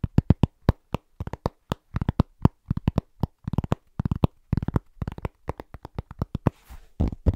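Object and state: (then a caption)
Round cork trivet. Rapid fingertip tapping on a large, thin, solid round cork trivet that is moved around the mic. About 35 dull, low, dry taps come in quick, uneven bursts, each dying out almost at once. A brief scratchy rustle near the end.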